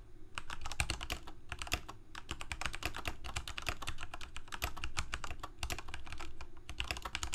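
A full-size black plastic Corsair K68 mechanical keyboard with Cherry MX Red switches and blue backlit keycaps, on a white desk, is typed on rapidly with the fingertips of both hands. The result is a dense, steady stream of short, bright clacks over a low, thumpy underlayer, with each keystroke dying away almost instantly.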